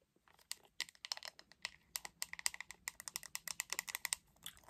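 Long acrylic nails tap the back of a hot pink hollow plastic paddle hairbrush in quick bursts. The result is around 28 sharp, dry clicks with no ring, bright and high-pitched with almost no low end, arriving in uneven clusters over nearly five seconds.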